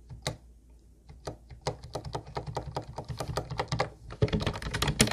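Both hands type rapidly with their fingertips on a hollow, teal Ubotie plastic keyboard with round white plastic keys. The result is a quick run of short, bright clacks with a low, hollow thud beneath each one. The keystrokes start sparse, then get steadier, and end in a dense, louder flurry.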